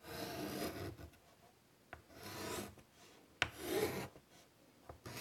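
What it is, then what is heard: Chalk on chalkboard. White chalk draws long rasping lines across a large wood-framed chalkboard. Broad, bright scratchy strokes alternate with quiet pauses, and a sharp tap of chalk on the board marks the start of some strokes.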